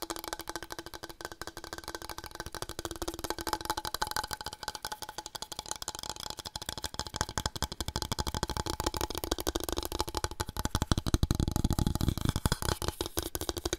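A wooden board is tapped for ASMR in a rapid, continuous stream of dry, short knocks with almost no ring. The taps are soft and low-weighted, growing somewhat louder and fuller in the last few seconds.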